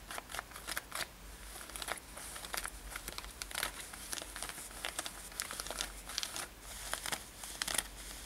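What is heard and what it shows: Long nails grip and scratch the fabric near the side edges of a worn light-blue denim lace-up top. The result is a dense run of quick, dry, bright rasps and crinkly scrapes with short sharp bursts, over a faint low steady hum.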